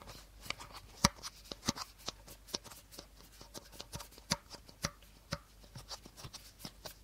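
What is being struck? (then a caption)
Plastic bottle. Short nails tap and scratch the body of a hollow, empty clear plastic bottle held upright by its teal cap end. About 17 sharp, bright clicks land in an uneven rhythm, with soft scratching between them. Each tap dies away almost instantly, leaving no ring.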